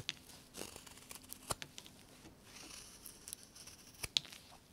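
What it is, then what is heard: Limewood carving block. A carving knife whittles a solid light limewood bird blank held in a gloved hand, working in steady cutting strokes. Quiet, bright scraping and shaving rasps are broken by a few sharp, dry clicks as the blade bites into the wood, with almost no low end and no ring after each cut.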